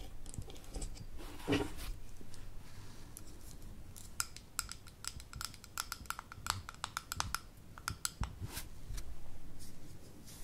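Long acrylic nails tap on the gold metal screw lid and the glass sides of a small amber glass jar held in the hands. The quick, dry, separate clicks carry a bright ringing tone around 1.3 kHz over a low background hum, with a brief rustle early on.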